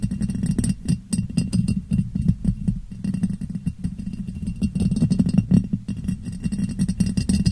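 A clear, hollow, empty ribbed glass jar, turned upside down over a microphone, is tapped on its sides with long nails. The sound is a rapid, uneven stream of short clicking taps over a dense, muffled low resonance that stays boxy and enclosed throughout.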